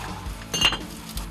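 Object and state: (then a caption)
Well-fired stoneware jar, clear ring. An unglazed Korean royal Pure-dogi stoneware jar, fired at 1,300 degrees and just taken from the kiln, is tapped three times. Each tap gives a clear, bell-like ring around 2.8 kHz that fades quickly. This clear ring marks the jar as properly fired.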